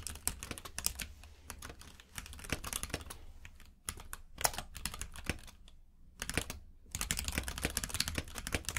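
Both hands type with their fingertips on a compact mechanical keyboard with plastic keycaps in a grey frame, which lies on a purple rug. Rapid, bright key clicks and clacks come in bursts with brief pauses, each tap short and dry over a low, steady hum.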